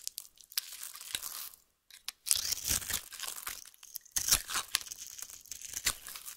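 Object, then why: Bar of soap cut with a metal knife. A metal knife cuts and scrapes a solid orange oval bar of soap held in the hand, shaving it into crunchy flakes. Dense, bright crackling and scraping bursts repeat throughout, with a brief near-silent pause before the cutting resumes.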